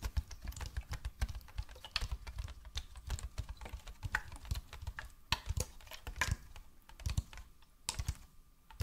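Fingernails tap rapidly on the body and around the red cap of a hollow white plastic bottle held up close. The result is a quick, uneven run of short, dry clicks with hollow low thumps underneath and bright ticking edges. Each tap dies away almost instantly.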